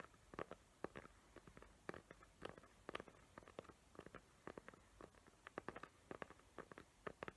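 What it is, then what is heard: Glitter-covered cardboard box. A small square cardboard gift box covered in glitter paper with hot-glue tree outlines is held in both hands while long nails tap and scratch its lid. The result is a quiet, rapid stream of short, dry clicks and soft scratches with no ring, mostly in the low-mid to mid range.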